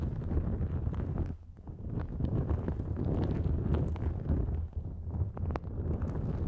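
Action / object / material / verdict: scrape / nonwoven fabric drawstring bag / nonwoven fabric / none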